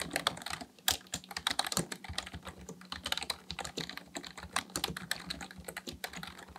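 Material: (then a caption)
Plastic. Both hands type steadily with their fingertips on a black plastic full-size computer keyboard resting on a desk, tapping the plastic keys. A fast, uneven stream of short, bright clicks and clacks comes through, each dying away almost instantly, with a faint steady low hum underneath.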